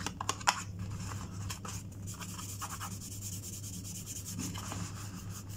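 Fingernails scratch and rub along the surface and edges of a small, white, printed cardboard sewing kit box that is closed, hollow and held in the hand. A few sharp scratchy clicks open the clip, then a steady, dry rubbing with bright hiss continues over a faint low hum.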